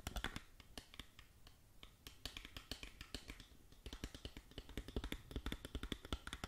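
Long nails tap and click across the surface of a small, hollow, printed cardboard cosmetic box held in both hands. The result is a quick, uneven run of short, dry clicks with a soft, hollow low thump under them. There are brief pauses between the bursts of tapping.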